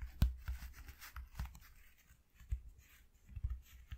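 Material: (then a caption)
Cardboard. Fingertips of both hands tap rapidly on a flat white corrugated cardboard sheet resting on black cloth. The taps are soft, dull, low thuds with almost no ring, some louder than others, with a faint papery rustle between them.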